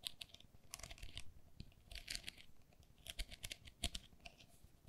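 Long nails tap and scratch the mesh walls of an empty, hollow pink perforated plastic lattice pen cup. Quick, bright clicks and scratchy rasping bursts come in uneven clusters over a faint low rumble. Each tick dies away almost at once, leaving a dry, crinkly texture.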